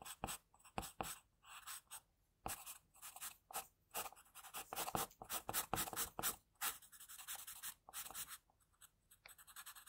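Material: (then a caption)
Paper. An HB wooden pencil held in the hand draws short strokes on a white drawing paper sheet lying flat, its graphite tip scratching the paper. The result is a quiet series of dry, bright scratching bursts in irregular quick runs, separated by brief silent pauses.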